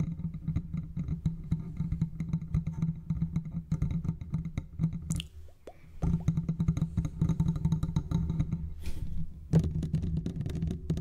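A large silver metal condenser microphone, with a hollow metal body and mesh grille, is tapped and scratched with the fingertips of both hands. The result is a dense, rapid stream of soft, low, boomy taps and rubbing with very short ring. It quiets briefly in the middle before resuming just as busily.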